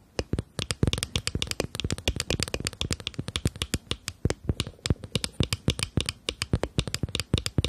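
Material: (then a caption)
Glass. Long nails tap and scratch rapidly across the flat faces of a small rectangular glass foundation bottle with a black cap and beige liquid inside, held up in the hand. It makes a fast, uneven run of dozens of sharp, bright clicks that die away almost instantly, with faint scratchy friction between them.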